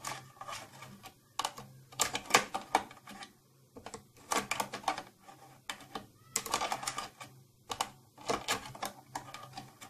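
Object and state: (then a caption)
Plastic tattoo kit case. Long nails tap and scratch the glossy surface of a closed, hollow purple plastic tattoo kit case near its latch. Quick, bright, clicky taps come in irregular bursts, mixed with scratchy rasps. Each tap dies away almost instantly over a faint low hum.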